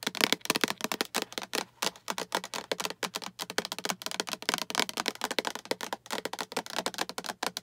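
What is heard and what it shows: Long acrylic nails tap and scratch the sides of a small, hollow, translucent green plastic storage box with a latch handle and diamond pattern, which appears empty. The result is a fast, continuous stream of dry, bright clicks and light scratches that stop almost instantly, with almost no low end apart from a faint steady hum underneath.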